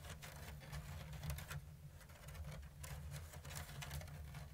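Long blue-painted nails tap and scratch along the thin bamboo strips of a medium-sized, hollow, open-weave basket that appears empty. Quick, light ticks and scrapes with bright, crisp edges come in an uneven, steady patter over a constant low hum.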